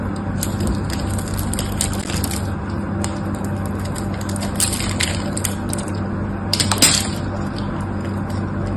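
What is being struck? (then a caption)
Bar of soap scraped by a knife blade. A metal knife blade scrapes and cuts dry flakes off the top edge of a solid pink soap bar held in one hand. A steady low hum runs under a continuous gritty, crackling scrape with bright crisp edges. Louder crunching bursts stand out near the middle and again toward the end.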